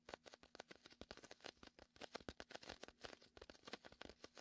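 Fingertips tap and pat the surface of a large, hollow, air-filled red-and-white inflatable PVC vinyl beach ball, and a palm sticks to it and peels away. A quiet, rapid run of short, dry taps with almost no ring mixes with bright, crackly sticky peeling sounds.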